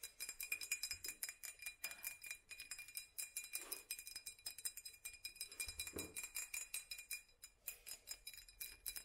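Long natural nails rapidly tap an empty-looking, hollow glass mason-style jar with raised black hobnail dots, held in the hands. The result is a continuous run of short, bright glassy clicks and clinks with a steady ring near 2.4 kHz. Each tap decays almost instantly, with very little low end.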